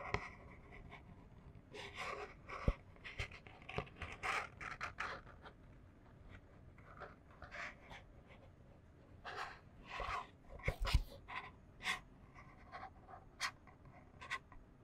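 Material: Cardboard.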